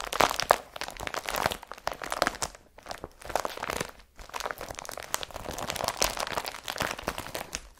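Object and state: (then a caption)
Woven polypropylene carrier bag. An empty blue IKEA BRATTBY woven polypropylene carrier bag is rubbed with the nails and gathered up by hand. Dense, scratchy crinkling and crunching with bright, crisp texture and little low end comes in bursts, separated by brief quiet pauses.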